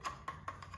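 Five knocks on a meter housing made of plastic printed silver to look like stainless steel, when it should be stainless. Each knock gives a short, hollow, wood-block-like click with a tone near 1 kHz that dies away quickly, not a metallic ring, which gives away the plastic.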